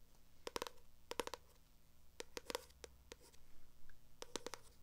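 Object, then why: Paperback book with glossy cover. Long acrylic nails scratch and tap across the glossy cover and page edges of a purple paperback book. Quick, bright clicks come in loose clusters, with a faint tone near 500 Hz and a soft low rumble underneath. Each click stops almost instantly, and quiet scratching fills the gaps.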